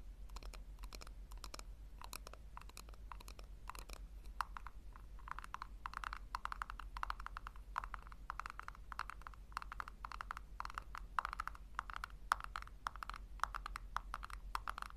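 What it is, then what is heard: Plastic tub. A small hollow pink plastic tub, held upside down on a fur rug, is tapped and scratched with long painted nails. The clip is a steady run of quick, dry clicky taps with a hollow plastic tone near 1.3 kHz, over a constant low hum.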